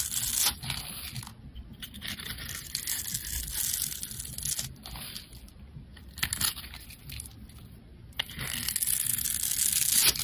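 A metal blade scrapes the cubed surface layer off a solid, dark grey rectangular soap bar that has been pre-scored into a grid. The sound is a bright, crisp, crumbly scraping with dense little crackles, broken by short pauses. It grows louder toward the end.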